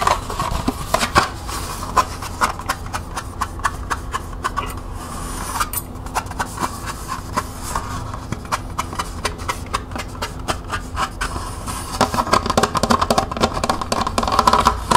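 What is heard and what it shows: Long nails rapidly tap and scratch the rim and side of a small, hollow, empty green plastic cup held with its open end facing outward. The result is a dense stream of light, dry clicks with a hollow ring around 1 kHz, layered over soft scratching. The tapping grows louder and busier in the last few seconds.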